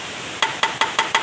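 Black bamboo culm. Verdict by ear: Mature.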